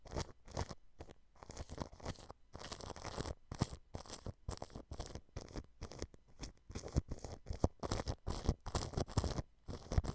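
A thin paintbrush strokes clear cling film stretched over a white dome microphone, brushing the plastic against the mesh beneath. A rapid series of short, crinkly, scratchy swishes comes in bursts separated by brief silences, heavy in low rumble with a faint bright hiss.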